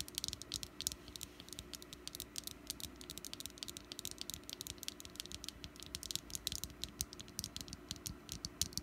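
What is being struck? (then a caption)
Small wax pumpkin candle. Fingernails tap quickly on the top and sides of a small solid orange wax pumpkin candle. Each tap is a short, bright, dry click with almost no ring, coming in a rapid, uneven patter over a faint, steady low hum.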